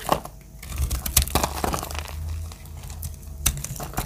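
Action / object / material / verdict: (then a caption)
scrape / soap bar cut with a metal blade / soap / none. A metal blade cuts dry chips from a lavender solid bar of dry soap held in hand. Crisp crackling, crunching scrapes and sharp snaps come over a steady low hum.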